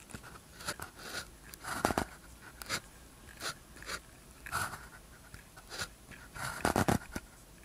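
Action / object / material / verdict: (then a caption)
scrape / ballpoint pen on a paper practice sheet / paper / none. A blue ballpoint pen tip scratches across a thin white practice sheet with a red grid, lying flat on a desk, while writing characters. Short, dry, bright scratching strokes come in quick bursts separated by brief pauses, with a few louder strokes near the end.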